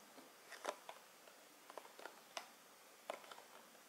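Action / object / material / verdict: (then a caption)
tap / cardboard perfume box / cardboard / none. A tall, hollow cardboard perfume box for Beyoncé Rise is held up and tapped with long metallic nails. The result is a series of quiet, dry, clicky taps with very short decay, spread irregularly across the clip over a low hiss.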